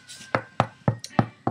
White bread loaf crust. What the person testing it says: Like a door, literally like you're knocking a door, and that sounds very hollow and definitely sounds cooked